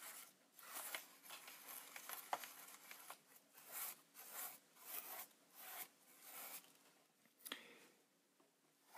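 A wide bristle brush sweeps across the front panel and lens area of a Polaroid Supercolor instant camera with a hollow plastic body. The result is a series of soft, bright, scratchy rubbing strokes, each rising and fading in turn, with occasional faint ticks between them.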